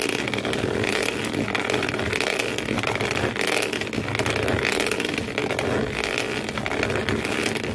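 Fingernails scratch fast across the corrugated cardboard floor inside an empty shoe box, one hand at a time. A dense, continuous rasping scrape with a bright, papery edge holds a steady level throughout, swelling slightly in short waves as the strokes alternate.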